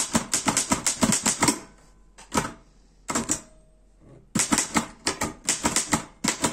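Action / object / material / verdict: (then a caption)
tap / metal portable typewriter / metal / none. Fingertips type on the keys of a black metal Erika 5 portable typewriter, producing quick runs of sharp, bright clacks with a short metallic ring. The bursts of keystrokes break off for two brief pauses, with only a few scattered clicks, before the rapid typing resumes.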